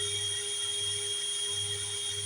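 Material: Nothing is struck.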